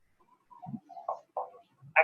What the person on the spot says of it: Acá el sonido es timpánico. El sonido cambia porque estamos percutiendo sobre el estómago, un gran órgano hueco.